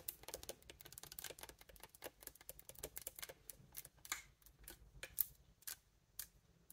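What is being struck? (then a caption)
Metal keys on a wooden bassoon. Fingertips and long nails tap and press the silver metal keys of a large, hollow, upright wooden bassoon. A quiet, rapid stream of short, bright clicks and ticks follows, dense at first, then thinning into more spaced-out taps with almost no ring after each.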